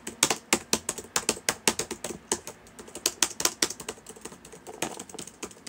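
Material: Plastic.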